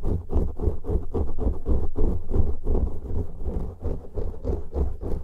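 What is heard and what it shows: Fingertips and nails of both hands scratch and rub two matching soft, porous black foam windscreens on studio microphones, one hand on each. The result is a dense, low, muffled rustling and thumping with quick, uneven strokes, heavy in the bass and with almost no high end.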